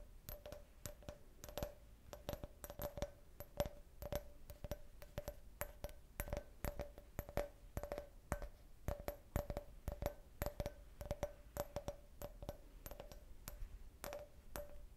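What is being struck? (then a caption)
Glass cup shaped like a beer can. An empty, hollow clear glass cup shaped like a beer can, with a printed logo, is held in the hand and tapped and scratched with long red-painted nails. Rapid, irregular taps produce sharp, bright clicks, each with a very short glassy ring around 580 Hz, mixed with soft scratching between them.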